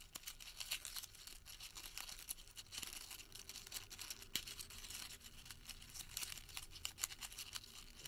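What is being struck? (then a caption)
Crumpled thermal paper receipt. A tightly crumpled, printed thermal paper receipt is squeezed and twisted between the fingertips of both hands. It gives a steady, quiet stream of bright, dense crinkling and crackling with sharp little snaps. There is almost no low end.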